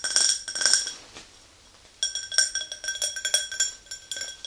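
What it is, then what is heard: Empty drinking glass tapped with nails. Long nails tap the rim and sides of an empty, tall, clear glass tumbler, making a rapid run of bright, clinking taps. The taps come in two bursts separated by a quiet pause of about a second. Each one rings briefly with steady high glassy tones and almost no low end.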